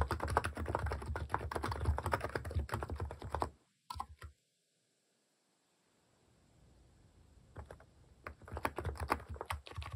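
Fingertips type in a steady press-and-tap pattern on a compact electro-capacitive keyboard with pink and cream plastic cat-face keycaps, resting on a wooden desk. Dense, soft, thocky key presses with low body and short, dry clicks fill the first few seconds. After a couple of brief taps and a quiet pause, the typing picks back up toward the end.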